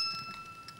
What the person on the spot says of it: Like a little bell, and it will continue ringing for some time.